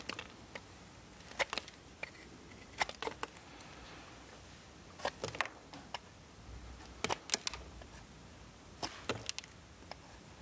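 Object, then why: Soap bar scraped with a steel blade. A steel multitool knife scrapes a solid blue bar of soap held in the hand, with the shavings falling onto a pile below. Short, crisp, bright scraping bursts come in irregular clusters over a quiet, low hiss, each stopping almost instantly with no ring.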